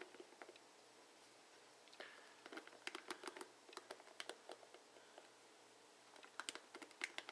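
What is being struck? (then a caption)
Plastic paddle hairbrush bristles. Fingertips and nails run along the plastic bristle tips of a blue plastic paddle hairbrush held sideways, flicking them. The result is quick, dry, bright clicks and ticks that stop instantly, with a short scratchy sweep partway through. The clicks come in busy bursts near the start, middle and end, separated by quiet gaps.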